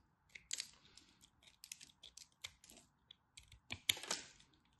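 A craft knife cuts and scrapes flakes off a small remaining chunk of dry, solid teal and white striped bar soap held in fingers with white nails. Quiet, crisp, bright crackling clicks and scratchy scrapes come in an irregular run, each dry and dying away at once. The loudest crunches come near the end.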